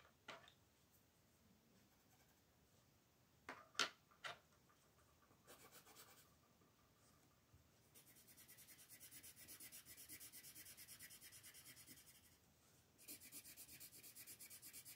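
A green colored pencil shades a flat paper coloring book page on a table in rubbing strokes, while fingertips with long nails hold the paper down. A few sharp, brief clicks come early in a quiet stretch, followed by soft scratching and then long runs of fast, bright, rasping pencil strokes against the paper.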